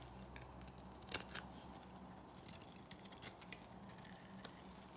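A metal blade shaves thin flakes off the flat face of a dry, solid black bar of soap held in the palm. Quiet, crisp, bright scraping crackles and short ticks come in scattered bursts over a steady low hum, with one sharper snap early on.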